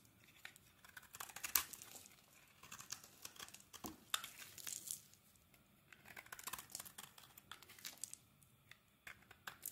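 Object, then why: Translucent glycerin soap bar. A metal blade shaves flakes off the surface of a solid translucent glycerin soap bar held in the hand. The cuts come as quiet clusters of bright, crisp scraping and crackling bursts, separated by near-silent pauses, with little low-end body and almost no ring after each stroke.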